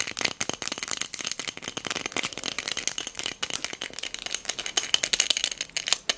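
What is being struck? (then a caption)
Small textured glass cup holding beads. A small pink hobnail glass votive filled with pearl beads is tapped with long nails and shaken, making the beads rattle. The sound is a dense run of sharp, clicky rattles and taps, bright and high with almost no low end. Each hit dies away almost instantly.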